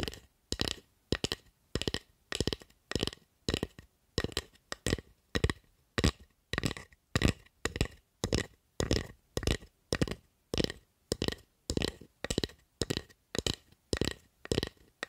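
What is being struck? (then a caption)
Carved wooden spatula tapped and scratched with long nails. Long acrylic nails tap and scratch across the surface of a solid carved wooden spatula. Quick, dry clusters of clicking taps and scratchy rasps repeat in a steady rhythm, each burst dying away almost at once with no ring.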